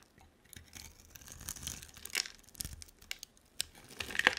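A utility knife blade scrapes and carves a hand-sized solid purple bar of soap with a dark coating into thin slices. Bright, dry scraping and tearing crackles come in uneven bursts, with sharper crisp snaps near the middle and a louder cluster of cuts at the end.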